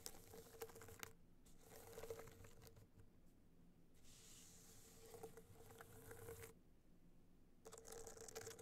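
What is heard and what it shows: Long nails tap and scratch the studded face of a gold rhinestone-studded hard-shell clutch held in both hands. Quiet bursts of bright, crinkly scratching and light patter-like taps alternate with near-silent pauses. A faint steady tone sits around 430 Hz beneath the scratching.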